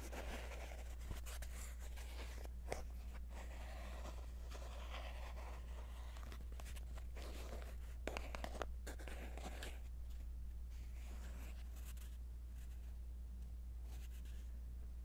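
A small, hollow yellow-and-white printed cardboard box of Rider Waite tarot cards, filled with a card deck, is held in one hand and scratched and rubbed with fingertips and short nails along its faces and edges. Quiet, continuous dry scratching and papery rubbing is heard, with a few sharper crisp scrapes, over a steady low hum.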